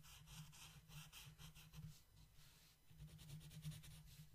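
A long yellow wooden colored pencil scratches and rubs across a flat paper coloring book page while coloring a mandala. It makes soft, rhythmic, bright scratchy strokes over a steady low hum. The pencil strokes come in quick back-and-forth bursts that swell and fade, and the whole clip stays quiet.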